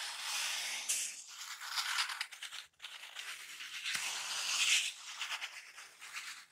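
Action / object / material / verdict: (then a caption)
scrape / thin open-cell packing foam sheet / foam / none. A thin black open-cell packing foam sheet is rubbed and squeezed with fingertips and nails. It makes a continuous bright, scratchy rustle and crackle with almost no low end, briefly dropping to near silence before starting up again.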